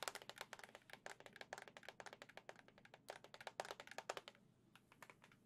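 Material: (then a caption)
Plastic. A hollow white and gold printed plastic Switch dock, held in both hands, is tapped rapidly with long nails, about 32 times. The taps are crisp, bright clicks with almost no ring, coming in quick irregular bursts that grow softer near the end.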